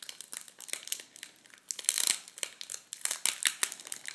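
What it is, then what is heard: Plastic packet of metallic tissue paper crinkling. Fingers open and pull at a plastic packet of red metallic tissue paper, making a dense run of sharp, bright crinkles and crackles over about four seconds. The sound is thin and high with no low end, each crackle stopping almost instantly, and it gets louder in bursts around the middle and later part.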